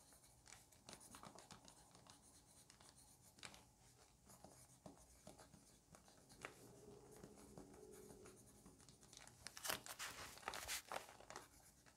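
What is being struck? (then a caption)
Pencil on a thick paper notebook page. A pencil tip scratches across crinkled paper at the top of a page in a thick lined paper notebook while writing, as the other hand, with long nails, rests flat on the paper. Quiet, bright, irregular scratching strokes and soft crinkles are heard, with a few sharper crackles near the end.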